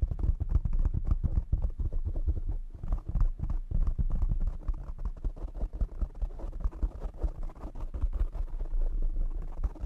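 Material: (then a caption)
Foam. A black foam windscreen on a desktop microphone is tapped rapidly by the fingertips and nails of both hands. The result is a dense, continuous run of deep, muffled thumps and soft scratchy rustles, heavy in the low end with almost nothing bright.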